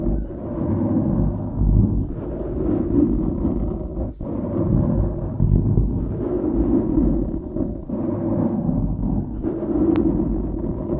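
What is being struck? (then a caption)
Foam microphone windscreen. Fingertips scratch and rub a dark grey foam windscreen on a microphone. The result is a continuous low, muffled rumbling crackle, heaviest in the bass with almost nothing high. Brief dips and soft bumps mark the changing strokes.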